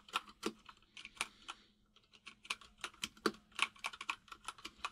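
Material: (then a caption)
Plastic. Both hands type with their fingertips on a white full-size mechanical keyboard with plastic keycaps resting on a desk, making about twenty rapid, bright clacks with very short decay. The taps come in uneven bursts with a brief lull near the two-second mark, over a faint steady low hum.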